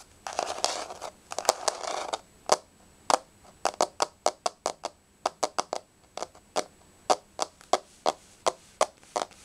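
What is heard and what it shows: Long nails tap on a solid, flat wood-grain laminate floor. A quick burst of dense scratchy tapping for about two seconds gives way to separate, sharp, dry clicks with a bright edge and almost no ring, spaced out at an uneven pace.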